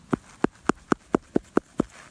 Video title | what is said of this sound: Silver State - Day 2 | when I tap it sounds like it's Hollow